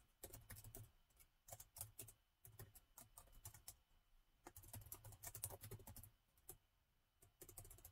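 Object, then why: Plastic laptop keyboard. Fingertips of both hands type on the black plastic keys of a gold laptop keyboard. The result is irregular bursts of rapid, short, bright clicks over a soft low thump, with brief pauses between flurries.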